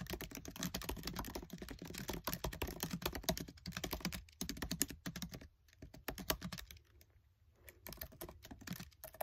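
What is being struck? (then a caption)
Plastic laptop keyboard keys. Fingertips with short nails type fast on the black plastic keys of a MacBook Air keyboard set in an aluminium body. The result is a dense run of short, dry clicks and taps with a low thud under each one, easing into sparser keystrokes near the end.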